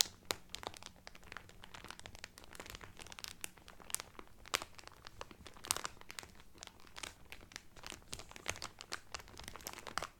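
A cotton Carnival Cruise towel in its cellophane wrap is pressed and rubbed by hands, crinkling the film. The sound is a quiet, steady stream of sharp, bright crackles and snaps with no ring, over a faint low hum during the first few seconds.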